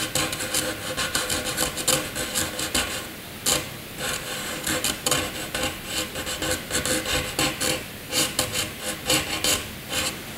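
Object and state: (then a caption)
Pencil scratching on paper. A graphite pencil scratches across a sheet of white paper, drawing jagged zigzag lines. Dry, raspy, bright scratching comes in quick back-and-forth bursts, with brief pauses between strokes.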